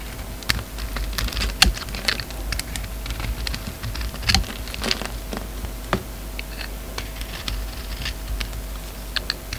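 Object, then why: Soap bar shaved with a blade. An oval solid soap bar with a glossy red coating and black interior is held in the hand and shaved with a utility knife blade. Crisp, dry scraping crackles and sharp clicks come in irregular bursts over a steady low hum. Each cut is short and bright.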